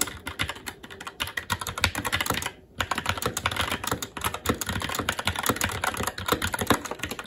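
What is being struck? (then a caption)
Mechanical keyboard with plastic keycaps. Continuous fast typing with the fingertips of both hands on a SteelSeries Apex 7 TKL mechanical keyboard, which has plastic keycaps on a metal top plate and Red linear switches. It makes a dense stream of quick, short-decaying clacks with bright upper content, broken by one brief pause before the rapid keystrokes resume.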